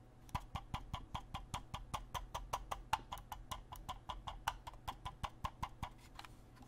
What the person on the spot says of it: the build quality is OK when I tap on the mouse the DPI button rattles which I personally don't mind